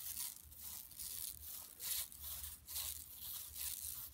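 Long nails scratch across a large, flat, empty yellow woven plastic mesh tote bag lying on carpet. The result is a bright, hissy rasping in repeated swelling strokes, with a faint low hum underneath.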